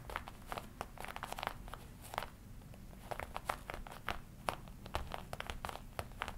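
Fingertips tap and scratch the black leather chest panel of a worn red-and-black smooth leather jacket. The result is a quiet, irregular run of dry, short taps mixed with crinkly scratching, centered in the midrange over a faint low rumble.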